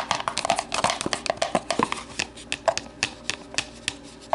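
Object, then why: Plastic deli container. An empty, hollow, translucent plastic deli container lies on its side on a table while long nails tap and scratch its base and side. A rapid, uneven series of short, crisp clicks and scrapes has a hollow plastic ring around 680 Hz and a bright edge. Each tap dies away almost at once, with the tapping growing sparser toward the end.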